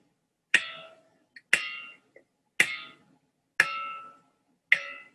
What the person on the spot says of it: Cualquiera diría que estoy pegando un trozo de metal